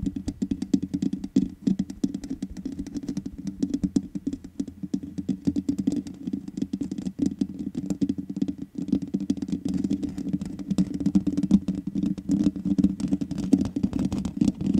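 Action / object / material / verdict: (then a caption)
tap / metal mesh microphone grille / metal mesh / none. Long nails tap rapidly on the black metal mesh grille of a large USB condenser microphone with a hollow head. The result is a dense, continuous patter of short, dull clicks with a boomy low-mid resonance. Each tap dies away almost instantly, with no bright ring.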